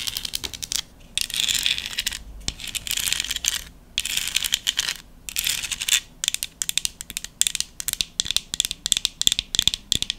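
Long nails tap and scratch a small, hollow decorative pumpkin made of folded book-page paper with a curled stem. Dry, papery scratching sweeps alternate with quick, sharp taps, almost all bright and high with a tone near 3.5 kHz and hardly any low end. Every tap stops instantly without ringing, and the taps speed up into a rapid crackling flurry toward the end.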